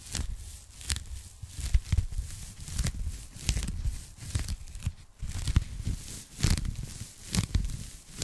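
Long painted nails and fingertips tap and scratch across a thin, flat, hollow pink polyethylene foam packing sleeve held up behind the microphone. Soft, low thumps mix with dry, crinkly scratching and bright, short clicks in an uneven, irregular rhythm.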